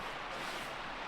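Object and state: Nothing is struck.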